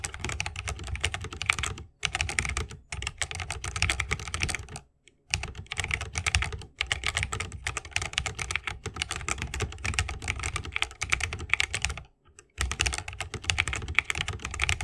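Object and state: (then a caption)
Mechanical keyboard with bamboo case. Both hands type continuously with the fingertips on a 60% mechanical keyboard with Holy Panda switches, a bamboo case and plastic keycaps. The result is a dense stream of short, sharp, bright clacks over a thumpy low body, broken by brief pauses near 2, 5 and 12 seconds.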